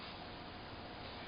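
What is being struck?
Nothing is struck.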